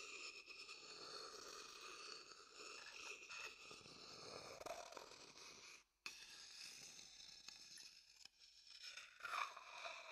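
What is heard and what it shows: The inside of an empty, dark-brown hollow wooden bowl, held close to the mic, is scraped with a wooden stick. The result is a steady, dry, bright scratching and crunching with brief stops near the six- and eight-second marks.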